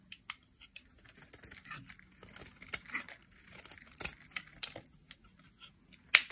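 A solid purple dry soap bar held in the hand is shaved into flakes with a metal utility knife blade. Dry, crisp scraping and crackling bursts fill the clip, mostly bright with little low end, ending in one louder, sharper scrape.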